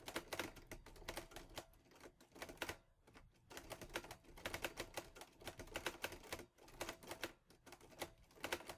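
Fingertips type quickly on the keys of a mint-green Olivetti Lettera 22 portable manual typewriter with a metal body and paper loaded. Rapid, bright, clacky keystrokes come in bursts and die away almost instantly, with short pauses near 3 and 6.5 seconds.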